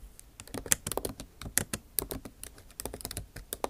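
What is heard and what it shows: Long nail tips type on a backlit MacBook Pro keyboard with plastic keycaps in an aluminum body. The result is a quick, uneven patter of light clicks and taps, each with a short bright tick and almost no ring. Soft scratchy textures sit between the keystrokes.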